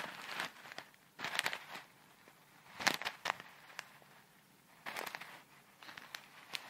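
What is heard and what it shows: A small clear plastic bag full of tiny colourful foam beads is held close to the microphone and squeezed, crinkled and shaken with long red nails. Bursts of bright, dry crinkling and crackling come in several short clusters with sharp clicks and quiet pauses between them. The sound has almost no low end.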